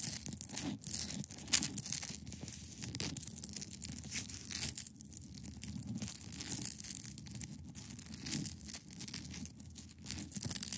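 Long pointed nails scratch across the top of a large, solid, clear ice block resting on a fabric surface. The result is a continuous run of dense, bright, crackling rasps and crinkly scrapes over a soft low rumble, with sharper scratch strokes rising out of the texture.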